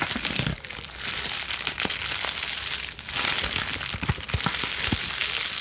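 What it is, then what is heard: Plastic bubble wrap being scrunched. A crumpled wad of plastic bubble wrap sheet is squeezed and scrunched in both hands with long nails. A dense, bright crinkling and crackling runs steadily throughout, dotted with sharp little cracks and brief dips in level.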